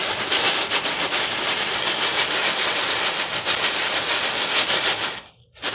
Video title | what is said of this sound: BETTER THAN TAKEOUT - General Tso's Chicken Recipe | shake them around and listen to how crispy they are